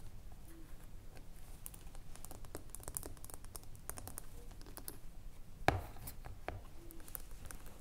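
Long blue nails tap quickly on the metal lid of a small glass body lotion jar filled with cream, making quiet, crisp clicks over a low rumble. Near the end, a louder knock sounds as the jar is laid on its side, and the nails then tap its glass base.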